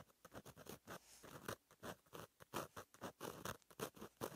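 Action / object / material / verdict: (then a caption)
scrape / gel pen on a paper notebook page / paper / none. A fine metal gel pen tip, held in the fingers, writes across a flat black lined paper notebook page. The result is a rapid run of short, dry, scratchy strokes, each a brief burst with quiet gaps between.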